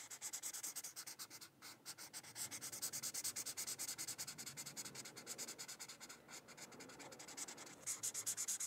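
A teal felt-tip marker scratches and rubs back and forth across a thin white paper coloring sheet. The quick, uneven strokes give a bright, papery hiss with very little low end, broken by short pauses near 1.5 and 6.2 seconds.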